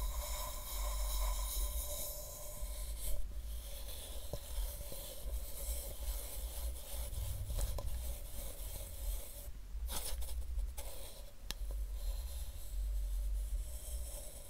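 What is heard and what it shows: A soft makeup brush sweeps over a hollow white plastic supplement bottle with a paper label, producing a steady, quiet scratchy rasp. Brief light ticks occasionally break through. A low, constant rumble sits underneath the whole clip.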